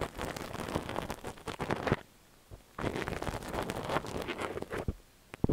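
A thin stainless steel ear pick scratches inside the ear canal of a cream silicone dummy-ear microphone while the ear is held steady by hand. Dense, close scraping and rustling bursts fill the sound, broken by a short quiet pause midway. A few sharp clicks come near the end.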